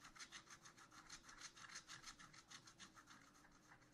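A wooden stylus scratches back and forth across a black-coated scratch art paper sheet in a spiral notebook, filling in a pot. It makes a steady run of quick, bright, papery scraping strokes, about three per second, with hardly any low end.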